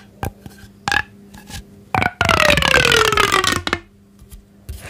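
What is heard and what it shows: A thin, hollow pink corrugated plastic pop tube toy is held in both hands while fingertips and nails stretch, bend and rub along its ridges. A few short pops and soft clicks lead into a loud, sustained ridged rasp with a gliding tone that slowly falls in pitch, then it drops back to quiet rubbing.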